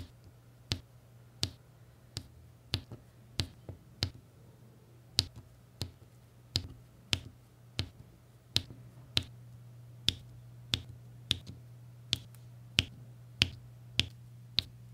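A plastic pen tip taps small, solid, faceted resin diamond painting drills into place on a printed adhesive canvas, giving about 21 sharp, bright clicks spaced roughly evenly over the clip. Each tap is dry and dies away almost instantly, over a steady low hum near 117 Hz.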